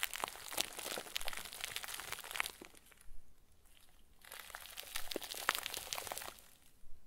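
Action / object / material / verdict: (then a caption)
scrape / plastic bag stuffed into a ball / plastic film / none. A round white plastic bag stuffed into a crinkle ball is kneaded and squeezed with both hands, thumbs and fingertips working it. Dense, bright crinkling and sharp crackles come in bursts, with a near-silent pause around the middle and a short lull before a final burst.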